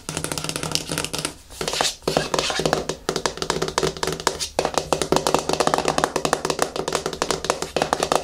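Fingertips and nails tap rapidly on the side and lid of a medium yellow plastic hair mask jar resting on a wooden table. The dry, hollow clicks ring very briefly, with a bright edge from the nails, in quick runs broken by short pauses.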